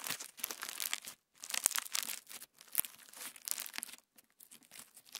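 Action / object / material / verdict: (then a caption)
scrape / clear slime with plastic sequins / slime, plastic / none. Clear slime with plastic star sequins is pinched by the fingertips, then spread flat on a wooden table. It makes bright, crinkly crackling in short bursts separated by brief silences, with a couple of sharp clicks standing out. There is almost no low end.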